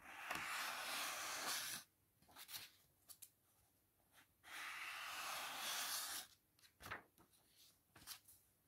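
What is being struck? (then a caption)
Paper book pages. Fingertips lift, rub and flip the thin cream pages of an open paperback book resting on a fuzzy blanket. Two long, bright papery rubbing swishes are each followed by a scatter of soft, quiet rustles and light taps, with almost no low end.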